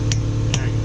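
A valve stem seal on an LS1 cylinder head is tapped down with a hammer, giving two sharp taps over a steady low hum. The changed tap sound shows the seal is fully seated and centered, and it is good.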